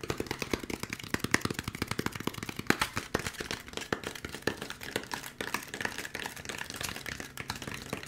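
Fingertips and nails quickly tap a white molded polystyrene foam packaging insert with a cutout, held in the hands. The result is a dense stream of short, dry, hollow clicks and taps with bright edges that stop almost instantly, with no lingering ring.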